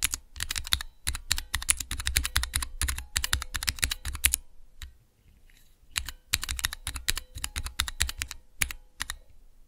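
Fingertips type rapidly on a small hollow switch tester fitted with clear plastic keycaps over Cherry MX mechanical switches. The result is a dense run of crisp, bright clacks, each with a short low thump, that pauses briefly near the middle before resuming.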